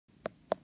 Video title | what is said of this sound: Tutorial: How To Know / Determine A Ripe Jackfruit | ito yung tunog ng hinog na langka